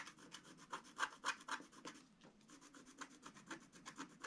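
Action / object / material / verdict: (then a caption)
scrape / wax-coated scratch art paper scraped with a wooden stylus / waxed paper / none. A long wooden stylus scratches a flat black wax-coated scratch art sheet around a reindeer. Quick, dry, bright scratching strokes come about four per second, with a brief lull near the middle before the strokes resume.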